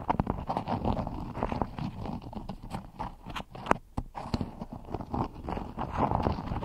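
A floral cotton beeswax wrap covers a microphone while one hand with long nails scratches and rubs the waxed fabric. The result is a close, dense stream of crinkly, crackling scratches that is heavy in the lows and muffled up top, with a brief lull near the middle.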